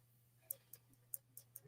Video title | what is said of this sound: Monday Mix Up join RandyatMoonValleyCrafts, Maria California Thrifter, Angie's Oddities & I! | it sounds solid when you tap it